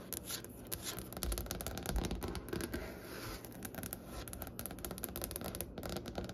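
Long, pointed, painted fingernails of both hands tap rapidly across a large, solid, light wooden tabletop with visible grain. The result is a dense, irregular patter of sharp clicks over dull low thuds, each tap dying away almost at once.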